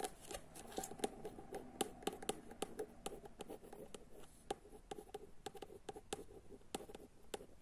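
A long fingernail taps and scratches the white and black cover of a solid paperback novel, "Dragi Džone," held up. The sound is a quick run of short, dry clicks mixed with soft scratching, each tap dying away at once with a faint mid-pitched tone.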